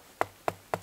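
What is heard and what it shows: Three knocks on the trunk of a completely dead, rotten standing birch tree, being harvested for its bark. Each knock is a short, dry, hollow-sounding tap centered around 700 Hz that dies away almost at once. The hollow sound shows the tree is dead.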